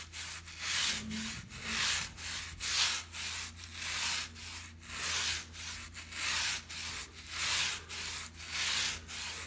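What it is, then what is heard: Shag fabric rug. A small white plastic bristle brush, held in the fingers, is brushed and scratched back and forth across a brown and black patterned shag pile rug lying flat on the floor. Each stroke makes a bright, hissy, scratchy swish, rising and falling in a steady rhythm over a faint low hum.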